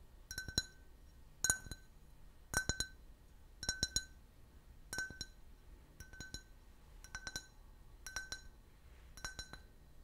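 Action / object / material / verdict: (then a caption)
tap / can-shaped drinking glass / glass / none. A clear, empty, hollow glass shaped like a soda can, about 12 cm tall with a printed logo, is held in the hand and tapped with fingernails and fingertips. Nine roughly evenly spaced clusters of quick double and triple taps produce bright, high glassy clinks with a steady tone near 1.5 kHz. Each clink rings only briefly before the next cluster.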